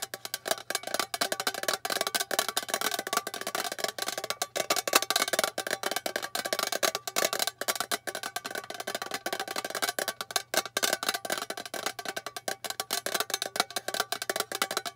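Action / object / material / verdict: tap / small metal tin box / metal / none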